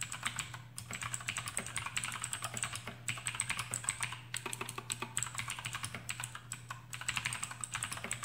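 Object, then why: Plastic mechanical keyboard. Fingertips of both hands type rapidly on a full-size black plastic AUKEY KM-G6 mechanical keyboard with RGB backlight and clicky Outemu blue switches, resting on a desk mat. A dense, fast stream of sharp, bright clicks and clacks runs throughout, with brief pauses between bursts. A steady low hum sits underneath.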